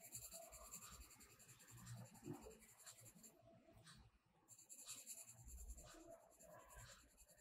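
A blue colored pencil is rubbed over a page of a spiral-bound paper mandala coloring book lying flat, in quick shading strokes. The result is a quiet, continuous scratchy rasp with a bright hiss and low rumbling texture, dipping briefly near the middle before the strokes resume.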